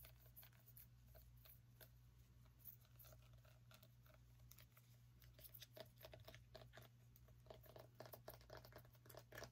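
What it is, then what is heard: Small pumpkin tapped and scratched with fingernails. Long nails tap and scratch the rind and stem of a small whole orange pumpkin held close to the microphone. Quiet, rapid clicky taps and brief bright scratches, with a slight hollow tone, play over a steady low hum.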